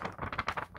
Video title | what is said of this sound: What is Banknote Crispness | you hear that sound that is a crisp sound